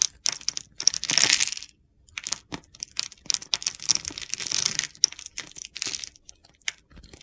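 A utility knife blade scrapes and cuts crumbly shavings from the top of a solid blue and white soap bar held in the hand. Quick, dry, crunchy scrapes and gritty crackles come in irregular bursts with short pauses, some strokes drawn out longer. The sound is bright and crisp with almost no low end and no ring.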